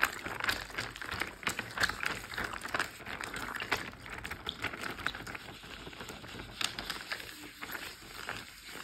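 A large, clear plastic Ziploc bag full of water lies flat and is tapped, pressed and crinkled with fingertips and short nails. The result is a steady stream of soft, quick taps and crinkly plastic rustles with a bright, papery edge and almost no low end. Each tap dies away almost instantly.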